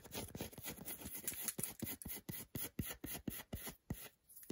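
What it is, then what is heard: Milk chocolate bar scratched with nails. Long nails scratch repeatedly across the flat back of a solid milk chocolate bar held in the hand. The result is a quick, uneven run of short, dry scratching bursts, each with a soft low thud and a bright hiss. A faint, steady high tone runs underneath.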